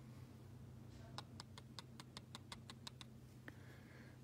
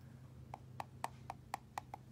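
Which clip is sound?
The first.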